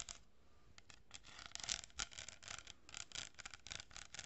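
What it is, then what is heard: Cardboard tube with plastic beads scratched by nails. Long painted nails scratch and rub an empty, hollow kraft cardboard tube about 25 cm long, with a row of small plastic pearl beads glued along one side, held close to the mic. Quiet, dry, bright scratching bursts come in a quick, uneven series, with soft rubbing between them and almost no ring after each stroke.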